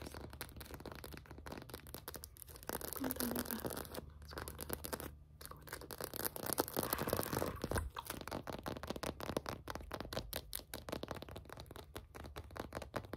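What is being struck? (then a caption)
Hollow vinyl anatomical figure. Long acrylic nails scratch fast across the shoulders, neck and spine of a white, likely hollow vinyl or PVC acupuncture body model seen from the back. A dense stream of brisk, irregular scraping strokes gives a dry, crackly texture with bright edges over a steady low hum, swelling louder through the middle before settling back.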